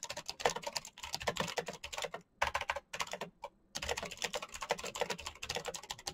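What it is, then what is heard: Plastic mechanical keyboard with clicky switches. Fingertips type fast on a full-size black plastic Razer mechanical keyboard with clicky green switches and RGB backlight. Rapid bursts of sharp, bright clicks with a light clack beneath are broken by short pauses near the middle before the fast typing resumes.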